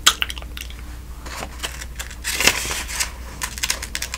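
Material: Paper.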